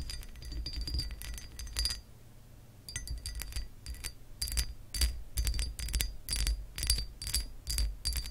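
Long acrylic nails scratch the raised scale pattern on a hollow pressed glass textured lamp base. Quick bursts of bright, glassy clicking and scraping come in clusters with short pauses, carried over a low hum.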